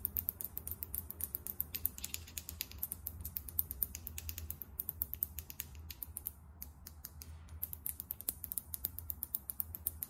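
A small glass Sephora Best Skin Ever foundation bottle, filled with beige liquid and topped with a champagne-colored cap, is held in one hand and tapped rapidly with long nails. The result is a dense stream of sharp, bright, clicky taps with almost no ring, over a soft low rumble, with brief pauses near the middle.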